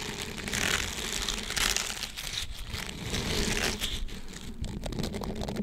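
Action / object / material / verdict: scrape / silicone dish scrubber / silicone / none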